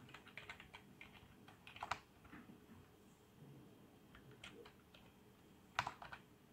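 Fingertips type on a full-size black plastic membrane gaming keyboard with RGB backlight and a hollow housing, resting on a desk, first with one hand and then with both. The result is quiet, soft, dull tapping with a hollow plastic tone, in a quick run early on and then sparser. Two sharper, louder presses stand out near 1.9 and 5.8 seconds.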